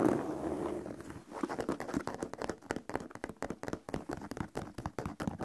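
An empty white leather sneaker is held upright while fingertips tap and scratch the leather upper near the laces and the heel. A soft, continuous scratching rubs over the leather for about the first second, then gives way to a run of quick, dry, muffled taps with a low-mid body and little brightness.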